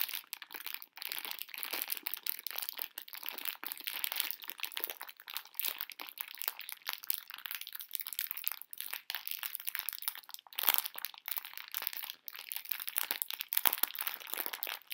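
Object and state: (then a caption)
Plastic candy bag crinkled by hand. A full pink plastic-film candy bag of conversation hearts is squeezed and crushed in both hands. The result is a dense, continuous crinkling with sharp crackles, bright and hissy with no low end, steady at a soft level for the whole clip.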